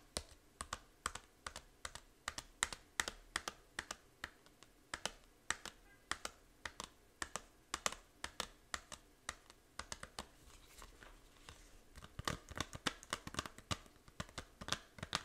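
Long nails tap and scratch the back cover of a small, hollow plastic Nintendo 3DS game case for Fantasy Life. Quick, bright, dry clicks come in uneven bursts, with softer scratching around the middle before the tapping picks up again near the end.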